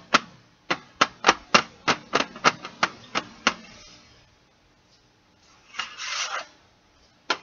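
Fingertips and nails tap a flat, closed Stabilo CarbOthello metal pencil tin, hollow and about A4 size, lying on carpet. A quick, uneven run of short, bright metallic clicks with almost no ring is followed by a pause, then a brief raspy scratch across the printed lid and one final tap.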